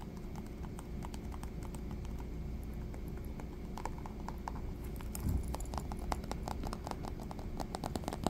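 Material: Coated canvas.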